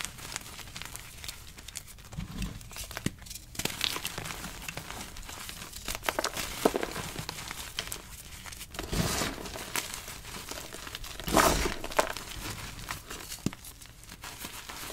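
Bare fingers squeeze, crush and rub a pile of solid, crumbly, brittle blue- and white-dyed gym chalk (magnesium carbonate) blocks and loose powder. Dense, bright crackling and crumbling continues throughout, with louder crunching bursts near 9 and 11.5 seconds as the chunks break down into powder.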